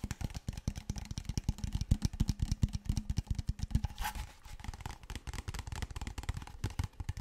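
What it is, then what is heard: Plastic water bottle. A large, clear, apparently empty PET plastic water bottle, held horizontally and then upright, is tapped and scratched with fingertips and nails. Rapid, dry, hollow taps with a deep low thump run throughout, and a brief brighter scratching sweep comes around the middle. The taps continue more softly afterward.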